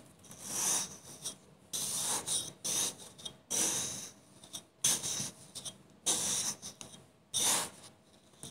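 A serrated metal knife repeatedly slices and scrapes through a solid block of blue kinetic sand molded into a small baby-bottle shape, resting on a pink surface beside other untouched filled bottles. Bright, grainy rasping cuts rise and fall in irregular bursts, each fading quickly, with very little low end.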